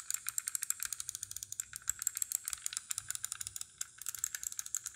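Long dark-painted nails tap and scratch a small yellow die-cast metal model sports car with plastic wheels and windows, and its wheels are handled. A rapid, uneven stream of dry, bright clicks and ticking rattles with almost no low end, each dying away instantly, with a brief pause near the middle before the quick tapping resumes.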